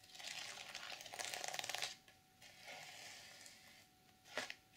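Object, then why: Sequin-covered fabric journal cover. Long purple nails scratch and rub across the plastic sequins of a closed black reversible sequin fabric journal cover. A dense, bright rasping rises to a crackling peak, then quieter sweeping rubs follow and end with a short sharp scrape.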